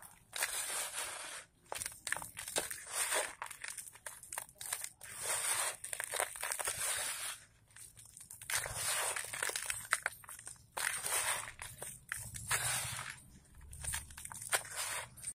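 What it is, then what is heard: Dry dirt clumps crumbling. Bare fingertips squeeze, crush and crumble dry, dusty red sand and dirt clumps in a white patterned plastic bowl, rubbing the gritty material between the fingers. Bursts of dry, bright, gritty crunching and fine crackling come in clusters, separated by short quiet pauses.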